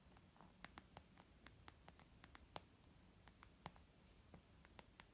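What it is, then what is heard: Leather makeup bag. Slow, irregular fingertip taps land on a white textured leather zip makeup pouch, with light fingernail scratching across its surface. About fifteen short, dry, muted clicks stand out over a soft, steady hiss, each dying away almost instantly.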